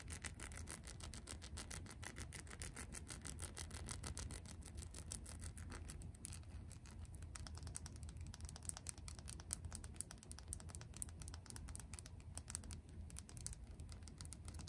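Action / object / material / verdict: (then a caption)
tap / small textured glass dropper bottle filled with liquid / glass / none. Long press-on nails rapidly tap and scratch a small, textured, yellow pineapple-shaped glass dropper bottle filled with serum. The result is a quiet, dense stream of bright, sharp clicks and scratchy textures over a steady low rumble.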